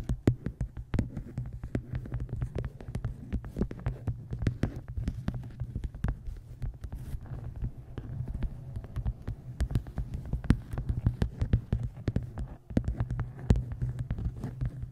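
A dark-covered hardcover book resting on a microphone is tapped and scratched by long nails across its cover and edge. The result is a dense run of short, dry, close-up ticks with brief scratchy strokes over a steady deep, low hum, with most of the energy in the low range.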